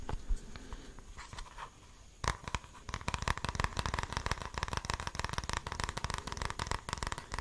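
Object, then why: Hard plastic deodorant stick case. A red Old Spice deodorant stick in a hard plastic case is held in both hands and tapped and scratched with the fingertips and nails. Soft, scattered scratching comes first, then from about two seconds in it turns into a dense run of quick, dry plastic taps and clicks with a bright edge and a low thump underneath.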